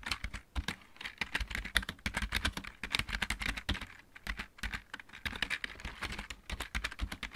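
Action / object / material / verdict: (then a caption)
tap / plastic mechanical keyboard / plastic / none. A full-size backlit mechanical keyboard with plastic keycaps is typed on with the fingertips of both hands. Rapid, uneven clacking keystrokes with a low thud under a bright click run continuously, each one dying out almost instantly.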